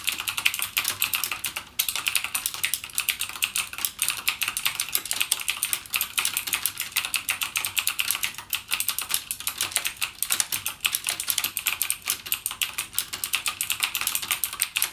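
Fingertips type continuously on a full-size backlit mechanical gaming keyboard with plastic keycaps and clicky Cherry MX Blue switches. The result is a dense, rapid stream of sharp, bright clicks with almost no low end and very short decay, broken only by a brief pause near the start.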